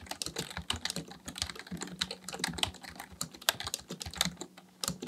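Fingertips of both hands type continuously on a black plastic full-size Dell KB1421 membrane keyboard with a hollow housing, resting on a desk, pressing and tapping keys. Rapid, bright, dry clicks and taps overlap in an uneven stream, each dying out almost at once, over a faint low steady hum.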